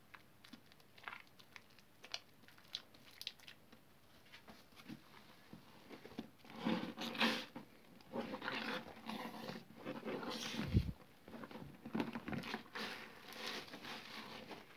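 Both hands squeeze, lift and knead a soaked, soft lump of mushy green soap in a blue basin. It crackles and squishes as it compresses, with sparse wet clicks at first and then denser, louder bursts of crackling in the second half.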